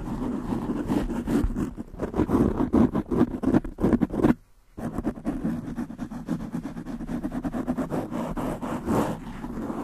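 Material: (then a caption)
Foam. Long nails of both hands rapidly scratch a black foam windscreen on a desktop microphone. The result is a dense, fast, irregular scratching and rustling with a muffled low-mid body, broken by a brief silence just before the midpoint before the scratching resumes.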